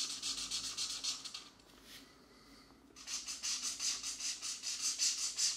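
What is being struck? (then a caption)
Felt-tip marker rubbing on a paper page. A green felt-tip marker rubs back and forth to fill in a section of a paper coloring book mandala page while a fingertip steadies the paper. Bright, scratchy strokes come in a quick, fairly steady rhythm, about a dozen in all. They pause for about a second and a half, then resume.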